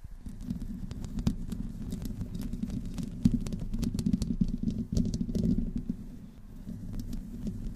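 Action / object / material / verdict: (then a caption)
scrape / metal mesh microphone grille / metal mesh / none. Long nails of both hands slowly scratch the metal mesh grille of a black condenser microphone with no windscreen. The result is a continuous low, rumbling scrape with frequent sharp, bright clicks and ticks scattered throughout.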